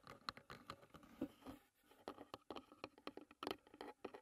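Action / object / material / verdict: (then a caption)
tap / closed wooden tea box / wood / none. Long fingernails tap and scratch across the lid and front edge of a closed, hollow wooden tea box. Around 18 quick, dry clicks ring out, short and hollow in tone, mixed with soft scraping patter in between.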